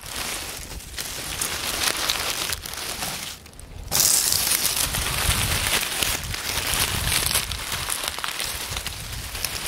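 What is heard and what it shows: Fingers rub and crumple a pile of dry, crisp oak leaves resting on a wooden table, making a continuous bright, crackly rustle. The rustling dips briefly about three and a half seconds in, then returns louder and denser, with steady crinkling carrying through to the end.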